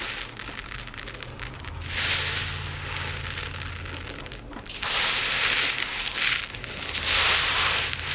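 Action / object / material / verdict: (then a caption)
scrape / pile of small resin diamond art drills in a plate / resin / none. Fingers with long nails rake through a pile of tiny resin diamond art drills in a dark plate, then scoop them up and pour them back down. A dense, bright crackling rattle swells in waves, loudest when the drills are poured, over a faint low hum.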